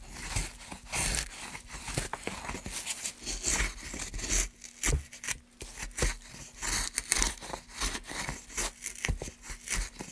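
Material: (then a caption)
Softwood. A gloved hand holds a solid, pale softwood block while a gouge scrapes and cuts long grooves into it, curling off shavings. A steady run of short, dry, bright scraping and crisp cutting strokes is heard close up, with a faint low hum underneath.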